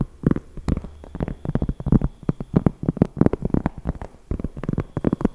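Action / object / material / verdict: tap / cork coaster / cork / none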